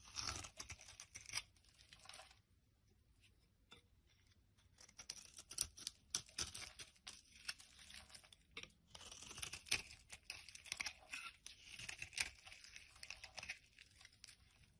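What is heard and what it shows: A knife blade repeatedly scrapes crumbly shavings off a solid yellow bar of soap held in the palm. The result is quiet, dry, bright scraping and crackling in short bursts, with a near-silent pause early on before the carving picks up again and continues steadily.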